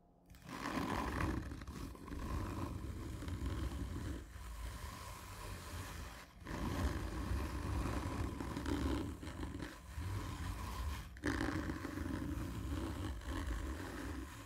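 Medium-length manicured fingernails of both hands scratch slowly and hard along the slightly textured surface of a large, dark, printed cardboard gift tube: whisky-style packaging with medal stickers, a hollow cylinder lying on its side on a table. The result is a deep, rumbling, roar-like scrape dominated by low tones, running in long continuous strokes with brief dips between them.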